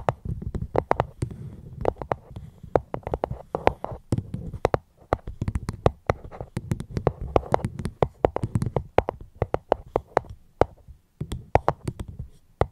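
Fingers tap on a fruit box held close to the microphone, making fast, irregular runs of short, dry clicks with a soft low thump under each. The taps come in quick clusters with brief pauses between them, each one dying away almost instantly.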